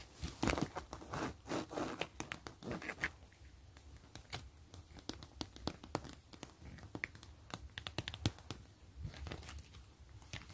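Long glitter nails and fingertips scratch and tap an empty, flat, clear PVC zipper pouch with a woven grid and gray trim. The first few seconds are crinkly, rasping scratches across the plastic. These give way to a quick run of sharp, dry taps with almost no ring, mixed with brief crinkles against a quiet background.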